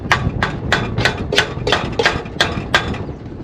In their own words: You hear that sound? The hammer is hitting the end of the pipe, which means the donut's on there right to the end of the pipe, right there.